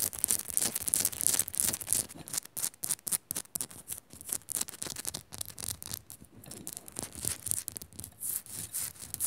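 Long nails scratch and tap quickly on the surface of a solid pink Himalayan rock-salt lamp. The result is a dense run of bright, hissy scratching strokes in uneven bursts, broken by short dry taps with no ring.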